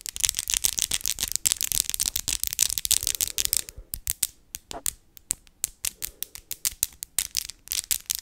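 Long acrylic fake nails with glitter accents, the tips of one hand tapped against the other's in front of the face: small, hard, hollow-ish plastic nails. The result is rapid, dry, bright clicking, dense for the first four seconds, then sparser with short pauses. Each click is tiny and ends almost at once.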